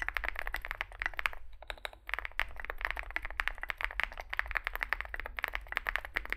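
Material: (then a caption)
Plastic. Fingertips type continuously on a small 65% Zoom65 mechanical keyboard with a dark case and white and grey plastic keycaps. The result is a rapid, steady stream of short, dry clicks centred around 2 kHz, with a brief pause near the two-second mark. A low, steady hum runs underneath.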